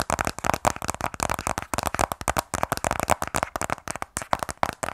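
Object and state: Cardboard phone box.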